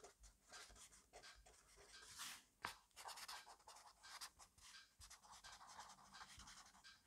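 A black fineliner pen makes quick strokes across an open grid-paper notebook resting on a desk, in fast, messy scribbling. Dry, bright scratches come in rapid, uneven bursts with brief gaps, mostly in the high range with almost no low end. A sharper scrape stands out near the middle of the clip.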